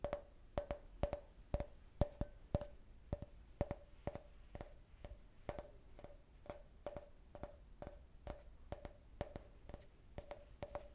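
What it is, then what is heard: Glass can-shaped cup. A hollow, empty, clear glass beer-can-shaped drinking glass with a printed logo, held in the hand, is tapped with long nails and fingertips. The result is a steady run of sharp, quick clicks in uneven pairs and bunches, each with a brief glassy ring near 600 Hz over a faint low hum.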